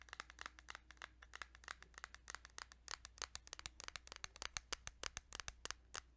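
Fingers tap rapidly and irregularly on a small plastic Kirby's Dream Land 2 Game Boy cartridge. The taps are short, dry, bright clicks that stop almost instantly, over a faint steady low hum.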